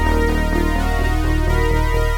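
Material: Nothing is struck.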